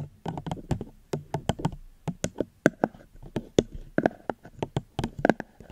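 A plastic cup is tapped gently close to the microphone, giving about 22 short, dry, knock-like taps in an uneven rhythm. Each tap is a soft, muffled thud with a low-mid body that stops almost at once, with only faint quiet gaps between them.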